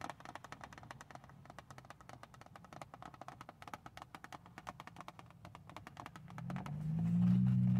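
Long nails tap and scratch across the top of a small, hollow, printed cardboard tissue box lying on a car seat, making a quick, fairly steady stream of dozens of light, crisp taps. Near the end, a low steady hum swells up beneath the tapping and grows louder until the clip ends.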